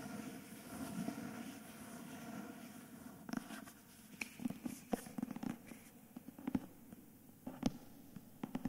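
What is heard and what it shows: Fingertips and nails scratch along the cream page-block edges and the jacketed back cover of a hardcover book with a paper dust jacket. A steady, soft papery rustle of scratching fills the first few seconds, then gives way to quieter stretches broken by sharp, short ticks and scrapes.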